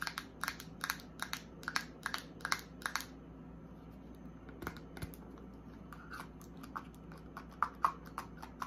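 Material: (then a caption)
Plastic. Long acrylic nails tap and scratch a small white plastic eye cream pump bottle with a paper label, held in the hand, striking both the bottle and its cap. Quick, bright, dry clicks come in rapid bursts, give way to a softer, quieter scratching midway, then return as scattered taps. A faint steady low hum runs underneath throughout.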